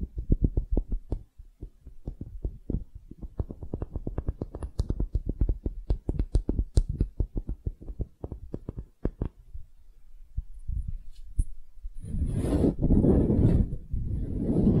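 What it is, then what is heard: Wooden half sphere scratched with nails. Long nails scratch and tap a small solid wooden hemisphere on its dome and flat side, making a rapid run of short, dull, low knocks. The knocks fade into a few quieter taps before giving way to a steady, breathy scraping rasp that spreads up into a high hiss.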